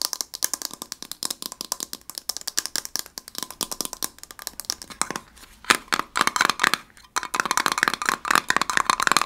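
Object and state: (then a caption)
Small metal tin tapped with nails. A small gold heart-shaped metal tin with a lid and label, likely holding a candle, is held in the hands and tapped rapidly with fingernails. The taps are dry and clicky, with no ring. They form a rattle-like patter that grows louder and brighter in the second half.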